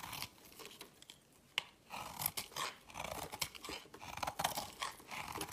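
A metal blade cuts chunks off a smaller layered green and white bar of soap held in the hand. Quiet, crisp, crunchy scraping cuts come in a steady run of short bursts, mostly high and bright with little low end.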